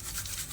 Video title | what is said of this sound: आत्ता घरीच बनवा सीक्रेट ताज्या मसाल्यातला पुण्याचा फेमस लक्ष्मीनारायण चिवडा l अजिबात नरम पडणार नाही | असा खुळखुळ आवाज आला पाहिजे